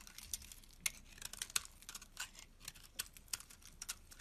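A metal box-cutter blade shaves curls off a solid white rectangular bar of soap held in the palm, scraping and carving into it. The result is a quiet run of short, crisp, bright scraping ticks and rasps with almost no low end and no ring, each cut ending almost instantly.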